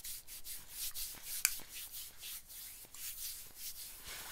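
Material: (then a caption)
Nylon. A hand rubs and scratches the sleeve and shoulder of an olive-green nylon bomber jacket, making quick, repeated strokes of bright, hissy swishing. One sharp tick briefly stands out partway through, and the scratching stays soft and steady throughout.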